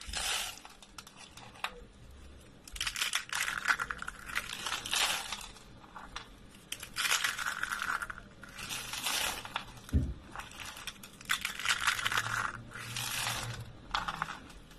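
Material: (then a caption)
Soap. Pale pink rolled dry soap coils are crushed between the fingers of both hands, breaking into brittle flakes. Bursts of dry, bright crunching and crackling come in repeated waves, separated by short quieter pauses, with a brief low thump near the ten-second mark.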